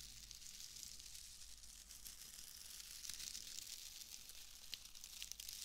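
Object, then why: Bundle of shredded wood wool. A loose, fist-sized bundle of pale shredded wood wool (excelsior), light and airy, is squeezed and crumpled by fingertips with long nails right beside a binaural microphone. It gives a quiet, steady, bright crackle and rustle, with sharper crisp snaps standing out here and there over a faint low hum.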